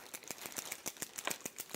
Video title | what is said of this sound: JewelleryMaker LIVE 15/12/20 8am-8pm | you can hear that little ball bearing inside